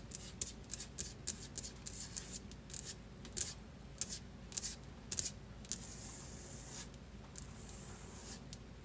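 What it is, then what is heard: Stone countertop tapped with fingernails. Long glitter-polished fingernails tap and scratch on a large, solid white marble-look stone countertop. A fast run of sharp, bright clicks fills the first six seconds, then gives way to a steadier, hissy scratching with a few more taps, all over a faint low hum.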